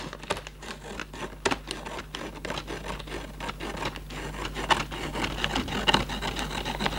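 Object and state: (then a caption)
Cardboard candy box. Fingertips and nails rub and scratch the top flaps of a Raffaello cardboard candy box, making a dense run of dry rustling scrapes with brighter scratchy flicks. A faint steady low hum stays underneath throughout.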